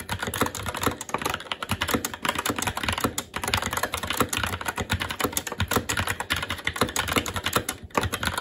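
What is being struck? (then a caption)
Mechanical keyboard with plastic keycaps on a metal plate. Continuous fast typing with the fingertips of both hands on a SteelSeries Apex 7 TKL mechanical keyboard with plastic keycaps on a metal top plate and Red linear switches. It produces a dense, steady stream of short, crisp keystroke clacks, each with a bright top and a light low thud, dying away almost instantly.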